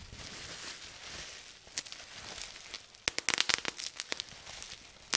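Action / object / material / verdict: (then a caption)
strike / plastic bubble wrap / plastic / none. Fingers squeeze a clear plastic bubble-wrap sheet, partly gathered and held up, popping its air bubbles. A soft, bright crinkling hiss gives way to a quick cluster of sharp, dry pops, followed by a few scattered pops and one last snap at the end.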